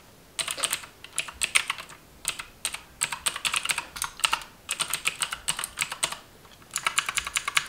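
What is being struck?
Plastic computer keyboard.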